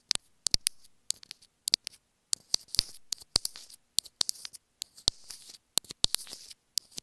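Long fingernails tap and scratch a small white plastic earphone inline remote microphone held in one hand. Quick, sharp, bright clicks come in irregular bursts with soft scratchy rustling between them. The sound has almost no low end, and each tap dies away at once.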